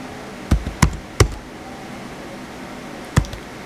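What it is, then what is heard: Plastic laptop keyboard being typed on. Fingertips type on the white plastic keys of a small blue plastic HP laptop. Four short, dull, low-heavy taps, each with a faint softer follow-up, come in a quick run of three and then one more after a pause, over a steady faint hiss. Each tap dies away almost at once.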